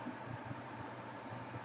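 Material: Nothing is struck.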